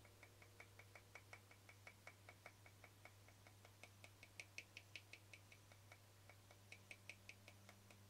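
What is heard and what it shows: Fingernails quickly tap and scratch the face and rim of a small, round, translucent frosted plastic lid held edge-on. About thirty-four short, bright clicks come in a fast, uneven run, each dying away almost at once. A steady low hum sits underneath, and the whole clip is quiet.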